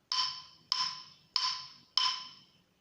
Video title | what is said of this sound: fuentes sonoras | La placa de metal tiene un sonido más duradero que la placa de madera.